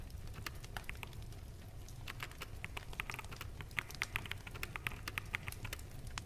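Fingertips of both hands type on a full-size black mechanical keyboard with plastic keycaps. A quick, irregular stream of short, sharp clacks with a bright edge sits over a steady low rumble.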